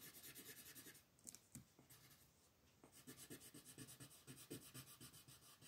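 A yellow colored pencil held in the hand shades a flat paper coloring book page with a mandala print, the sheet lying on a table. Quick, bright, scratchy rubbing strokes repeat at about two per second, pause into a quieter stretch with a few sharp ticks, then resume in a steady back-and-forth rhythm.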